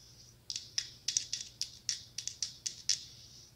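Long acrylic nails tap and scratch a small hollow pumpkin ornament covered in glass mosaic tiles, held in one hand. Thirteen sharp, bright, clicky taps sound in quick succession, each dying away almost instantly, with a faint scratchy texture between them.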